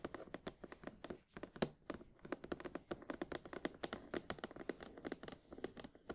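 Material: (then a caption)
Cardboard. Long painted nails of both hands tap rapidly on the front face of a printed cardboard retail box for Sony WH-1000XM4 headphones, held upright, hollow with the headphones inside. A fast, uneven run of dozens of short, dry, quiet taps, each with a sharp clicky edge and a hollow, papery body that dies almost instantly.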